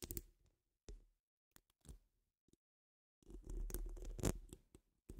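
Long nail tips tap and scratch a hollow metal mesh microphone dome, giving a few short, separated taps and brushes with gaps of silence. These are followed by a denser stretch of continuous scratching with a crisp, rustling texture over a heavy low thump, ending in a final quick tap.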